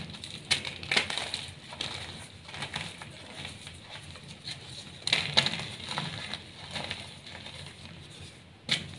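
Palm-sized pieces of a solid block of brown, glittery, dyed reformed gym chalk are squeezed, crushed and rubbed in bare hands with painted nails over a pile of chalk dust. The result is a steady stream of bright, dry crunching and crackling, with a few sharper snaps standing out. The block breaks into crumbly chunks and powder.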